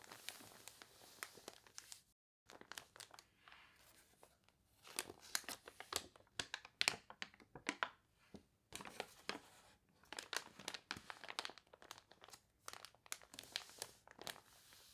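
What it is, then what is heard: Water-warped paper catalog pages. Long nails scratch and rub the wavy pages of a water-warped paper toy catalog, and a page is turned. Quiet, bright crinkling and crunching come in quick dry bursts, broken by a couple of brief silent pauses.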